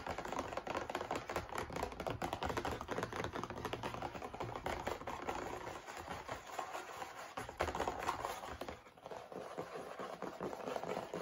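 A cardboard tissue box is tapped and handled with fingers, giving a steady stream of dull thunks and quick taps. The dense, fast taps run throughout, with short pauses and softer handling near the end.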